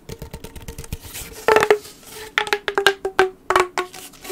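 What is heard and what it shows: Fingertips scratch the ribbed surface of a hollow blue corrugated plastic pop tube while it is bent and compressed. The result is a rapid series of dry, sharp clicks and scratchy ticks, each with a brief hollow ring. The clicks come in uneven bursts with bright edges and almost no low end.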